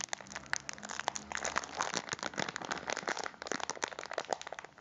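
A full, cylindrical packet of biscuits in a crinkly plastic wrapper is held in both hands and crinkled and pressed with the fingers. It gives a dense run of sharp, dry crackles and crunches, bright and hissy with almost no low end, each snap dying away instantly. The rustling stays fairly quiet and continuous, with small louder bursts throughout.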